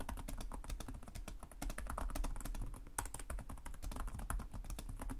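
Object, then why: Plastic laptop keyboard keys. Fingertips of both hands tap rapidly on the low-profile plastic chiclet keys of a black laptop with a hollow body, making continuous typing. The result is a dense stream of short, sharp clicks with bright tops, sitting over a steady low hum that carries most of the energy.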